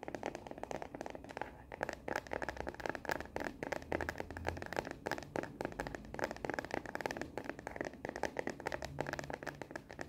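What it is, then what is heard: Plastic phone case tapped and scratched. A smartphone in a frosted translucent hard plastic case with black rubbery edges and a star and planet print is held upright while long natural nails rapidly tap and scratch its back. The result is a fast, dense stream of short, dry plastic clicks mixed with scratchy scraping, with almost no ring after each hit.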